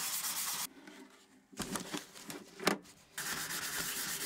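Gloved hands sand and rub the hollow, curved wooden cover of a rare 1908 typewriter being restored. A steady, bright sandpaper hiss gives way to a quiet pause, then uneven rubbing strokes with a sharp knock. The even scratchy sanding then resumes to the end.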